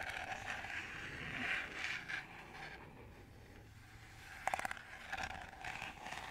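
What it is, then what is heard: Plastic colander scratched. Fingernails scratch the slotted ridges of a green perforated plastic colander, held up hollow and empty. A dry, bright rasping scrape with a hollow plastic tone around 770 Hz fades to a quieter stretch, then returns with a quick burst of sharp ticking clicks before the scratching picks up again.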